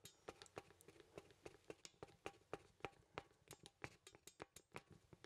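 Fingertips tap a small, solid wooden poseable artist mannequin and move its limbs, producing a quick, irregular series of soft ticking joint clicks. Each click is dry and short with a woody mid-range tone and a bright edge, heard quietly against a faint background hush.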